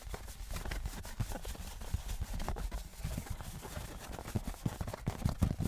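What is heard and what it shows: Fingers tap a thin, embossed metal souvenir novelty license plate, first held flat and then on its edge. The result is a run of quick, dull, clip-clop-like knocks that are mostly low and die away almost instantly, with little bright ring.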